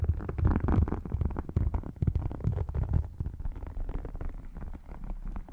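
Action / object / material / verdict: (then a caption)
scrape / embossed faux leather wallet / faux leather / none. Long nails tap and scratch the textured surface of a rigid red faux crocodile-embossed leather wallet lying open flat on the lap. The result is a dense, rapid run of deep, muffled thuds and rough scraping, heavy in the low end with almost no brightness, each tap dying away quickly.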